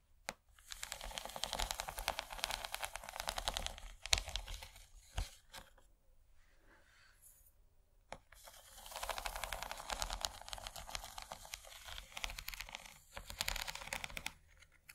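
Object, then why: Rigid plastic ridged serving tray. Long fingernails scratch and tap along the textured corn ridges of an empty, rigid yellow plastic corn-shaped serving tray with a hollow underside. Two long stretches of dense, bright, crackly scratching are broken up by a quieter middle section with a few sharp taps. The scraping sounds hollow and brittle, with a faint low rumble underneath.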